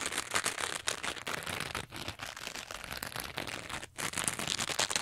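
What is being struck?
Textured foam sponge.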